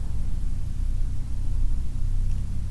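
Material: Nothing is struck.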